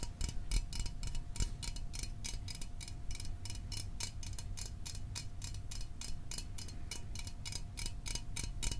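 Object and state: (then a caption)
Aluminum soda can. A small aluminum Fanta soda can held in the hands is tapped rapidly with fingernails, giving a steady run of quick, bright, tick-like clicks that die away almost at once. A faint steady tone and a low rumble sit underneath the taps throughout.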